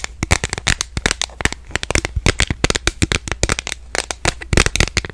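A smartphone in a purple plastic case, held horizontally in both hands, is tapped rapidly on the back with long nails. The result is a fast, uneven stream of sharp, dry clicks that die away almost instantly, bright around 2.5 kHz, over a steady low hum.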